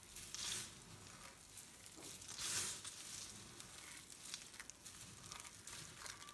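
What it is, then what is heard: Dry soap shavings. A pile of dry pink, white and green soap shavings is crushed between fingers, raked with fingertips and scooped up with both hands. It makes a steady, bright, dry crackling and rustling. Louder crunchy bursts rise near the start and in the middle, and short crisp crackles are scattered throughout.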